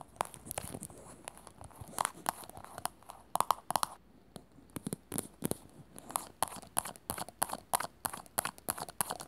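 A small, round, glossy teal plastic container lid, hollow, is held in the hands and scratched and tapped with long natural nails. Quick, sharp clicks and brief scratching bursts come in uneven runs, with short quiet gaps between some of them.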